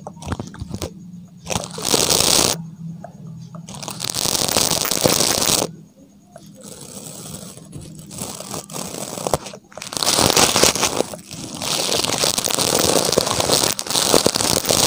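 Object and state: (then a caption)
Plastic toothbrush bristles scratched. A small, solid pink plastic toothbrush with nylon bristles, held close to the microphone, has its bristles scratched and flicked with fingertips and nails. The result is bursts of bright, crackling, scratchy bristle noise separated by quieter stretches with a faint low hum.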